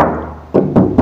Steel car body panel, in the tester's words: bunyinya sangat jernih saat kita mengetuknya karena mobil ini bebas dari dempul bodi